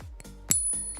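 A real silver coin gives a single bright, high ping, a clear ringing tone that sustains and fades over about a third of a second. The long, clean ring confirms the coin is genuine silver.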